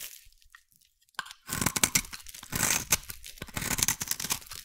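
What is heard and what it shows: A solid, hand-sized cream-white bar of soap is scraped with a metal blade, shaving off fine curls. After a near-silent start, dense, bright scraping and crunchy tearing sounds run in uneven bursts, with little low end.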